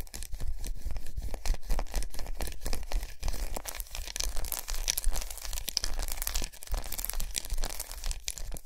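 Long nails quickly tap and scratch a large unwrapped solid milk chocolate bar with raised squares resting on a towel. The result is a dense run of dry, crisp clicks and bright, rasping scratches, with a soft low thump underneath and no ringing between strokes.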